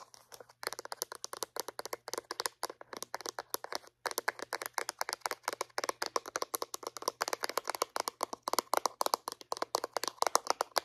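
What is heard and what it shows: Long painted acrylic nails tap rapidly on the sides and lid of a small white hollow plastic Reach dental floss dispenser as it is turned in the hands. The result is a dense stream of dry, crisp plastic clicks centred around 1 kHz with bright edges and no ring, broken by brief pauses near the start and around the four-second mark.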